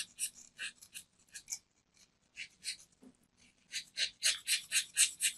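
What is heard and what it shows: A metal craft knife blade shaves the surface of a small, round, solid white soap disc held in the palm, leaving powder behind. A quiet series of bright, airy scraping strokes is heard, coming at a steady rhythm of about four per second with short pauses between groups.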